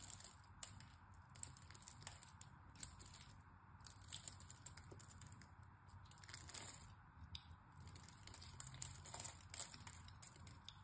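A utility knife blade scores and flakes small cubes off the edge of a hand-sized, solid orange-and-white striped bar of soap held in one hand. The result is a quiet, continuous crisp scraping and crinkling, with bright, high hissy bursts and many tiny ticks over a low, soft rumble.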